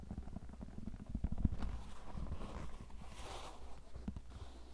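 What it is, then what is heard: Leather cowboy boot. A hollow, empty tan leather cowboy boot, held by the heel and shaft, is tapped and scratched with painted fingernails. Soft, dull low taps and thumps mix with a quiet, continuous scratchy rustle of nails on the leather.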